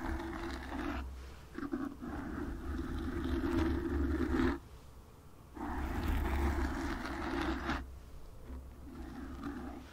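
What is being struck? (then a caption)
Foam microphone windscreen. Long nails on both hands scratch the front of a black foam windscreen on a microphone. The result is a dense, rumbling, muffled scrape heavy in low tones, in two long loud stretches split by a brief quieter gap, then easing to a softer scratching at the end.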